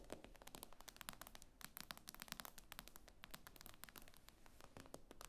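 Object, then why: Tablet glass screen. Long nails tap rapidly on the glass screen of an iPad lying flat. The taps are short, dry, bright clicks that stop almost at once, coming in a quick, uneven stream over a quiet low rumble.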